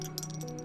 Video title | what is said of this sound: Build FAIL - Unikorn! Stream VOD 8/6/19 | Sounds like ceramic, right? They're actually plastic, but it sounds like ceramic.